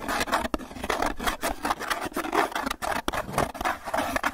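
Fingertips and nails rapidly tap and scratch the surface of a small, hollow white styrofoam clamshell takeout box held close. The result is a dense run of dry, squeaky scrapes and light taps, centered in the midrange with little low end. Each contact dies away almost at once.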